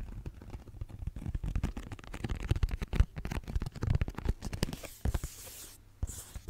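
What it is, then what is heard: Cardboard tissue box. Long nails scratch and tap a pink cardboard tissue box with a cloud print, a hollow cube. The result is a dense run of quick, dry, low, hollow thumps and rasping scratches with no ring, shifting toward a softer, brighter scraping near the end.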